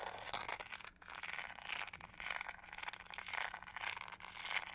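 Long nails scratch along the textured edge and bristle base of a pink-gold plastic detangling hair brush held sideways. The result is a quiet, steady run of bright, crinkly scraping with a faint low hum beneath it.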